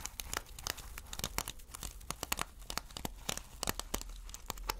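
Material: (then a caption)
Plastic. Fingertips and nails scratch and brush across flip sequin fabric made of plastic sequins. The result is a quick, uneven run of crisp, bright clicks and crinkly scrapes, each snapping off almost instantly over a faint low rumble.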